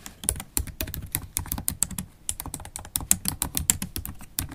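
Typing on a MacBook Pro laptop keyboard, its low-profile black plastic keys set in a silver aluminum body, struck with long stiletto acrylic nails and fingertips. A fast, steady stream of short, dry clicks with bright nail ticks on top and soft thuds underneath, each dying away almost instantly.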